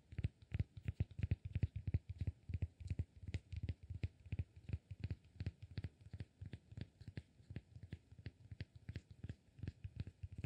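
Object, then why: Cork block. Fingertips tap and scratch the flat face of a palm-sized, solid cork block. Quick, irregular taps come in bursts for the whole clip as soft, dull, low thuds that stop instantly with no ring. Faint scratchy texture sits between them, and the overall level is quiet.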